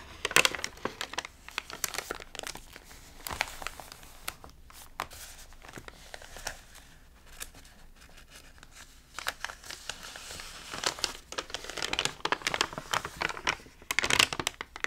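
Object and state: Water-damaged paper magazine with crinkled pages.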